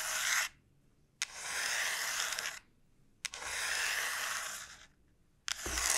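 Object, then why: Dried gourd shell. Long nails slowly scratch the rough surface of a large, hollow dried gourd shell. Four long, bright, hissy scraping strokes are heard, each starting with a sharp onset and separated by short silent pauses.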